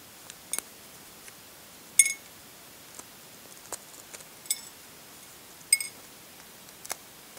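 Fragments of cracked shell are peeled off a brown hard-boiled egg with the fingernails, producing about ten short, sparse flaking and scratching clicks. The sounds are crisp and bright with almost no low end, a few carrying a brief high ringing tone, spaced unevenly over a quiet background.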